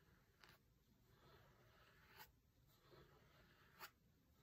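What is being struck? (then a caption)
Hardcover book with linen cloth cover. A fingertip traces and taps across the grey linen cloth cover of a closed hardcover book with printed text, resting on a marble table. Soft, dry brushing and scraping of fabric is broken by a few brief, bright taps that die away almost at once.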